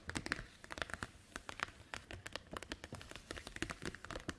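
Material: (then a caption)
Plastic. A translucent green plastic snap-button document folder, hollow and empty-looking, is lifted, flexed and crinkled by hands, then tapped with long white nails as it lies on a wooden table. The result is a quiet, dense run of short, dry crinkles and sharp clicking taps with bright upper content, each dying away almost instantly.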